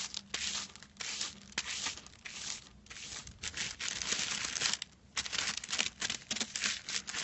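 Fingertips and nails scratch and crinkle the surface of a crinkled silver metallic foil sheet lying flat. The result is a run of bright, dry crackling and rustling bursts in an uneven rhythm, with short pauses between strokes and almost no low end.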